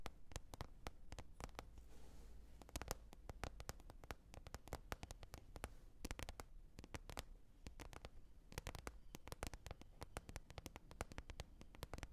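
A lid is tapped repeatedly in a quiet, steady run of quick, dry clicks. Each tap is bright and dies away at once, over a low, soft rumble.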